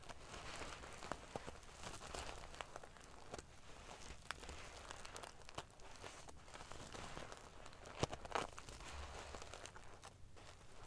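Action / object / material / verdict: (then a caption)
scrape / pillow covered in metal sequins / metal sequins / none. Fingernails scratch and ruffle the silver metal paillettes covering a sequin pillow. The result is a quiet, continuous prickly crinkling and rustling, with a few sharper clicks standing out near the end.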